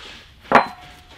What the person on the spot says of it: you'll get a solid sound all of a sudden which basically just set the anchor in place